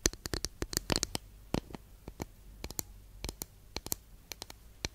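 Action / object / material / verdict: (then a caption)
tap / flat wooden incense holder / wood / none. Long nails tap on a long, flat, thin, solid wooden incense holder, making 22 quick, dry, bright clicks with almost no ring. The taps come in uneven bursts, some clustered together and others spaced apart, over a faint low hum.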